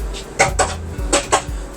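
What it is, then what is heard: Glass shower panel. A glass shower panel in the bathroom of a 2023 Thor Quantum WS31 Class C RV on a Ford chassis is tapped or touched four times. Each contact gives a short, bright, dish-like clink that rings briefly and fades quickly over a low background hum. This glass can break if left unlatched and allowed to rattle while driving.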